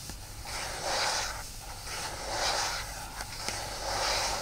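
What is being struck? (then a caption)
Aluminium tablet back. Fingertips and nails of both hands rub and scratch the aluminum back of an iPad lying face down on a towel. A soft, airy scraping hiss swells and fades in three slow passes, with a few faint ticks in between.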